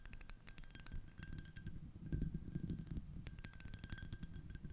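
A small, clear, empty iridescent ribbed glass dish shaped like a shell is tapped rapidly with long acrylic nails from both hands. The result is a quick, irregular stream of light, bright glassy clinks and ticks over a low, steady rumble.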